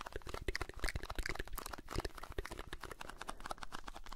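Fingertips tap and scratch a small blue Alpen Salz cardboard carton, likely filled with salt, held close to the microphone. A dense, irregular stream of soft, dry taps and crinkly scratches is heard, with low thumping bodies and brief bright crackles. Each sound stops almost instantly at a quiet, close level.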